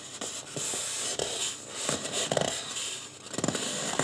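Fingertips of both hands rub and scratch the scalp of a life-size white polystyrene foam mannequin head with marker-drawn hair. The result is a steady, dry, bright scratching hiss with little low end, broken by short, sharper scrapes that stand out above the rubbing.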